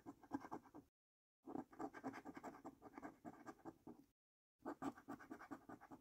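A coin edge scratches across the lower panels of a paper lottery scratch card in quick, dense rasping strokes. The sound comes in three bursts separated by two brief silences. It is quiet, dry and mid-pitched.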